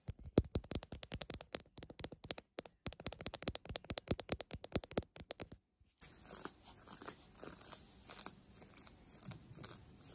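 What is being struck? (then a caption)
Denim jeans fabric. Long nails scratch ripped denim jeans over the knee, making rapid, dry, crisp scratches in quick bursts. After a short pause, the sound turns into softer, continuous rubbing strokes that swell and fade with a bright, airy hiss.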